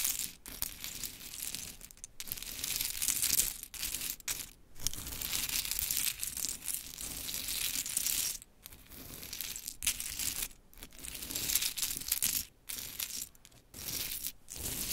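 Long chrome nails scratch, tap and push around a pile of small pink painted wooden clothespins scattered on glitter fabric. The result is a steady, bright clattering and rustling of light wooden pieces, broken by short pauses.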